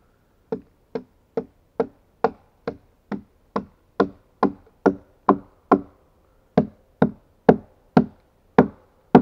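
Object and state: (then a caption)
Pine log struck with an axe. An axe repeatedly knocks and chops into the hewn flat face of a solid pine log, giving 19 sharp, dry wooden thuds at a steady pace with a short pause near the six-second mark. Each strike is a brief knock with a mid-pitched woody tone that dies away almost instantly.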